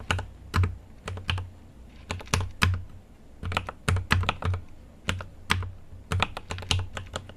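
Fingertips of both hands type continuously on a GMMK Pro mechanical keyboard with an aluminum case and plastic keycaps. The keystrokes come in quick, uneven bursts, each a short, sharp tap with a deep thock near 90 Hz and a bright clack on top. Every stroke dies away almost at once.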